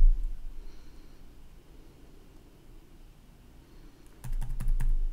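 Fingertips tap rapidly on the keys of a black plastic gaming laptop keyboard with red backlit keys, resting on a wooden desk. After about four seconds of quiet low background hum, a quick burst of sharp, bright key clicks fills the last second.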